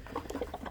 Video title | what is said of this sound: Tesla Cybertruck Air Compressor Ultra+ Tire Repair Kit | I shake it you can hear it that's the goopy stuff that goes inside of your tire